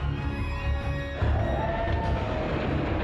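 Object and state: Nothing is struck.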